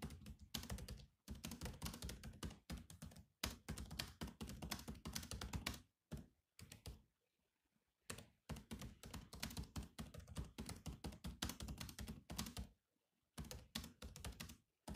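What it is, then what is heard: Laptop keyboard with plastic keys. Both hands type fast with the fingertips on a grey laptop's black plastic keys, producing dense bursts of short clicky taps with a soft low thud under bright clicks. The typing stops briefly a few times, with quiet gaps near the middle and toward the end.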